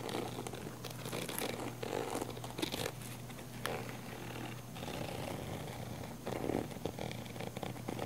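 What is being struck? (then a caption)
Padded nylon fabric camera case. Long manicured nails scratch the textured surface of a small, hollow, black padded nylon fabric zip camera case held in the hand. The result is a quiet, continuous dry rasping and scuffing with brief brighter swells, over a faint steady low hum.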